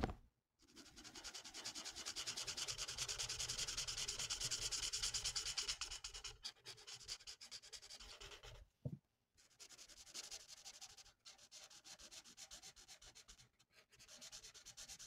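A lilac felt-tip marker, held in the fingertips, rubs back and forth across a flat printed paper coloring sheet lying on a table. Rapid, steady strokes make a bright, scratchy swishing. Brief pauses break the rhythm, and one soft low thump falls near the nine-second mark.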